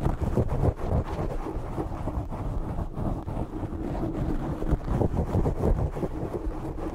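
Short nails scratch and rub a black foam windscreen on a desk microphone from the top and sides. The result is a dense, continuous muffled rumble and rustle, heavy in the lows with almost nothing bright, with quick irregular scratching strokes throughout.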